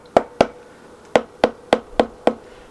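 The metal rocker cover on a Yamaha XJR1200 engine, held by a stuck gasket, is knocked with a wooden block and rubber mallet to work it loose. Seven sharp, short knocks ring with a hollow tone around 680 Hz and a bright attack, their pitch shifting as the cover loosens. After many blows the cover finally comes free.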